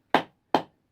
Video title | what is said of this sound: My first Kuksa Pt 2, Still no splits | now you can hear that hollow sound, and that's telling me that's the resonance going through the wood